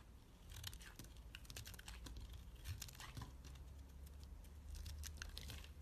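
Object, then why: Bar of soap shaved with a knife. A utility knife shaves flakes off the face and edges of a solid dark purple bar of soap. It makes a quiet, steady run of dry, crisp scraping and crinkling ticks with bright edges, over a low, steady hum.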